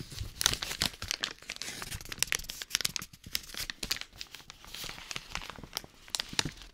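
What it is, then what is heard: Paper bag crumpled. A small, hollow, empty brown kraft paper bag with a printed logo is held in both hands and crumpled and crinkled with the fingers close to a binaural microphone. The result is a dense, bright, crackling rustle of sharp crinkles and tearing-like bursts, with almost no low end.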